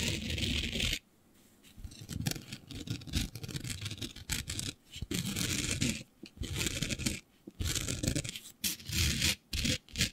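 Long beige fingernails of both hands scratch across a flat black sheet coated in fine green glitter, lying flat. Rough, gritty scratching comes in bursts that are both bright and low-heavy, separated by short silent pauses, with no ringing after each stroke.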